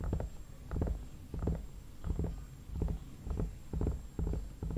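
Fingertips and nails tap the forehead and cheeks of a hollow vinyl mannequin head, giving soft, dull, low thuds with short rattling bursts. The taps come in small irregular clusters and fade quickly.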